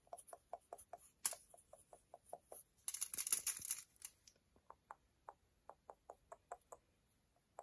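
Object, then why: Milk chocolate bar. A solid strip of milk chocolate held between the fingers is tapped and scraped with long nails that curl up shavings. About 18 quick, dry, clicky taps ring out in a steady run. A bright crackling scratch breaks in near the start and a longer one comes midway.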